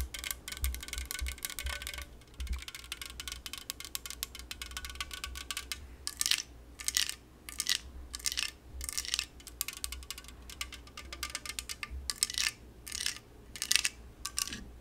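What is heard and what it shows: Long yellow nails tap rapidly on a La Croix aluminum drink can held in the hand. The result is bursts of bright, thin metallic clicking with very little ring, separated by short pauses over a faint low hum.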